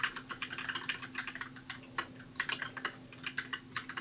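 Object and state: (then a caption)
Plastic mechanical keyboard. Fingertips type steadily on a compact white mechanical keyboard with plastic keycaps. The keystrokes come as quick, bright, clacky clicks that stop short in an uneven rhythm. A faint, steady low hum runs underneath.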